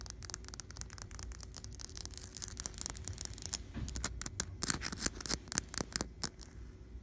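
Long blue-painted fingernails tap and scratch across a flat, solid, painted white interior wall. Rapid, crisp clicks and bright scratchy scraping stop dead with no ring, over a faint, steady low rumble. The tapping grows sharper and more spaced out toward the end.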